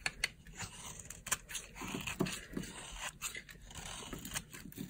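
A solid white bar of dry soap held in the palm is carved and scraped with a small blade, producing crunchy shavings. A series of short, dry, crackling scrapes sounds, each bright and papery with a faint low thud, and they fade almost instantly without ringing.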